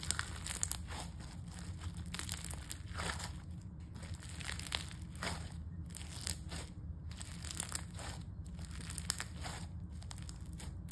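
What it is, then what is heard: Crunchy foam-bead slime. A pale-yellow crunchy foam-bead slime is stretched between two hands, then squeezed and kneaded with knuckles and fingers on a table as a soft, solid mass. A steady stream of dense, bright crackling and crunching pops rises over a constant low rumble, with brief louder bursts as the beads are crushed.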